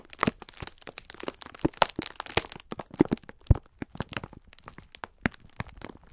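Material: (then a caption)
Plastic film. A full, soft rectangular pack of several green sponge scourers, sealed in clear plastic film with a printed label, is squeezed and rubbed with the fingertips of both hands. The plastic wrap gives off a dense run of sharp crinkles and crackles over a soft, muffled crunch of the sponges.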